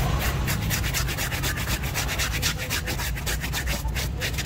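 A large blue Stitch stuffed toy of soft, filled plush fabric lies wet and soapy on a wooden board while one hand holds it steady and the other scrubs its face and belly with a hand-held bristle scrub brush. Quick, steady back-and-forth strokes make a continuous bright, scratchy rubbing hiss over a low, damp rumble.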